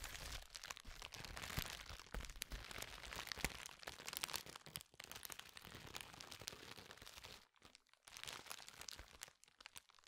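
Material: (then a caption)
Plastic. A flat, clear, hand-sized sheet of thin plastic bubble wrap with air-filled bubbles is held in both hands and squeezed and rubbed with the fingertips close to the mic. It makes dense, bright crinkling with sharp pops and cracks, with a brief quiet gap around 7.5 seconds before the crinkling resumes.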